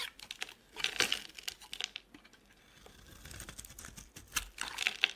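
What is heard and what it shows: A hand-held, solid rectangular soap bar with a gold-painted surface and white interior is shaved into curls with a utility knife blade. Dry, crisp scraping and cutting strokes give bright, crackly rasps in quick, uneven bursts, with short quiet gaps between them. A softer stretch of scraping fills the middle before sharper strokes return at the end.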